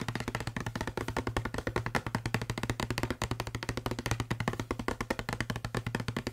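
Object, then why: Plastic spray bottle. Fingertips and short nails tap quickly on the side and label of a hollow blue plastic Febreze spray bottle held in one hand. The result is a steady, rapid stream of short, distinct taps with a low, hollow thump beneath a dry clicking edge, each dying away almost instantly.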